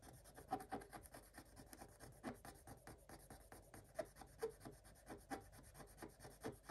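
A thin wooden stylus rubs and scratches the black coating off a scratch-art paper page, revealing colored foil underneath. Quiet, dry rasping strokes repeat in quick, uneven bursts, each a short scratch with a midrange edge around 750 Hz and almost no ring after it.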